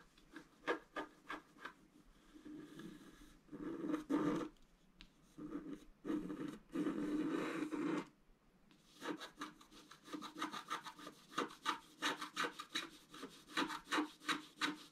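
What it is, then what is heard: Scratch-art board being scratched. A thin wooden stylus scratches across a black-coated scratch-art card, scraping out a fountain design. Quick short dry scratches give way to longer sustained rasping strokes, then a brief pause before a fast run of rhythmic, evenly repeated short scrapes. The sound is a papery, gritty rasp with a bright hiss on top.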